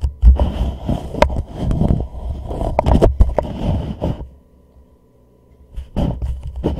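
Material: Plastic.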